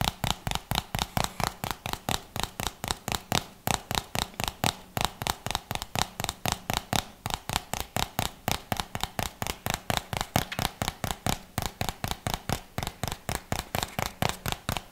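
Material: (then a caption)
Plastic. The lid of a white plastic jar, held close to the microphone, is tapped and scratched with the fingertips. About 63 quick, crisp taps repeat steadily for the whole clip, each a short, dry click with a soft low thump and a bright edge.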